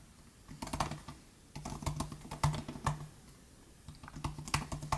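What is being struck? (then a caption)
Plastic butterfly-switch laptop keyboard. Both hands type with their fingertips on the plastic butterfly keys of a 2018 MacBook Air laptop keyboard. Quick, light, shallow clicks come in three flurries separated by short pauses. Each tap has a dull low knock with a brighter click on top and dies away almost at once.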